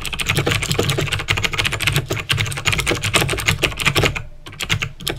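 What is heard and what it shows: Fingertips with short painted nails type quickly on a full-size backlit plastic mechanical keyboard with clicky green switches. A dense run of sharp, bright clicks sits over a low thock from the keys bottoming out. The typing pauses briefly near the end before a few more keystrokes.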